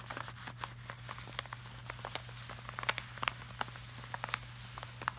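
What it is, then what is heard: Glossy laminated art print. Fingertips of both hands tap and rub across the shiny surface of a large, flat, glossy art print made of plastic-laminated paper. Quiet, short, crisp taps and light scratchy rubs come in an irregular scatter, each ending almost instantly, over a steady low hum.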